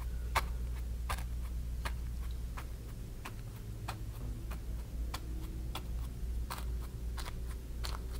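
A flat bristle brush dabs and strokes wet acrylic paint on a small stretched cotton canvas on a wooden frame lying flat on a table. Short, bright, crisp taps and soft brushing scrapes come at an uneven pace over a steady low hum.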